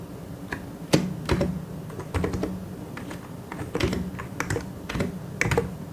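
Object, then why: Plastic mechanical keyboard. Fingertips type on a white and grey plastic mechanical keyboard, producing irregular bursts of short, dry clacking keystrokes with bright click edges. The clicks decay almost instantly over a steady low hum, with uneven pauses between quicker runs of keys.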